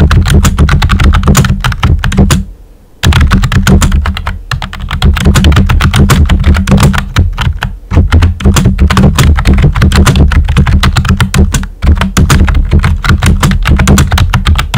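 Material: Plastic.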